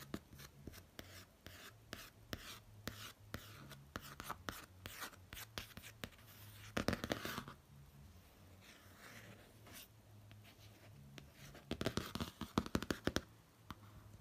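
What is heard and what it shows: A fingertip traces the outlines of a face and lips on the glossy pop-art cover of a laminated cardboard hardcover notebook, close up. The result is a soft, dry scratching and rubbing with many quick, light taps, clustered more densely around seven seconds and again near twelve to thirteen seconds. A faint steady low hum runs underneath.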